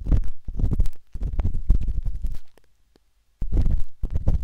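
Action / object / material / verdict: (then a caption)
scrape / silicone ear of a binaural microphone / silicone / none. The metal tip of a wooden-handled dot stick scratches inside the ear canal of a pale pink, soft and solid silicone binaural microphone ear. Dense, muffled, deep scratching and rubbing comes in close bursts with a brief silent pause, then resumes.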